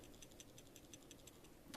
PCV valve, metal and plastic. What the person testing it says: when you shake this, you should hear a rattling